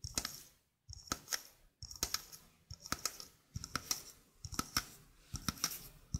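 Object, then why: Stainless steel mesh sink strainer. Long fingernails tap and scratch the mesh basket of a small, hollow stainless steel mesh sink strainer. Quick, bright metallic ticks and raspy scrapes come in irregular clusters with brief pauses, each tap carrying a thin, high ring that fades almost at once.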